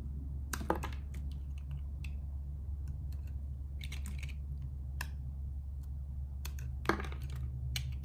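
A metal blade carves and scrapes a small solid purple soap cube, held by fingertips with red nails, over a pile of purple and blue soap shavings, and the cut pieces fall onto the pile. Short, crisp, bright scraping and clicking bursts come in irregular clusters over a steady low hum.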